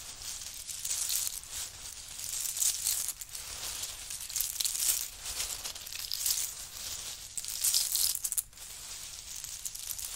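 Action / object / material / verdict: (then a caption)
shake / pile of pistachio shells / nutshell / none. Both hands dig, scoop and rub through a large heap of small, hollow, empty pistachio shells on a faux-fur mat, fingertips and short nails working through them. Dense, bright crunching and rattling rises and falls in waves, with brief clattering bursts and almost no low end.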